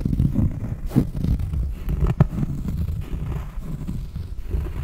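Long painted nails scratch the textured surface of a large, round, solid cork trivet held close to the microphone. The sound is a soft, muffled, low scraping rustle that runs continuously, with a couple of sharper ticks standing out near the one- and two-second marks.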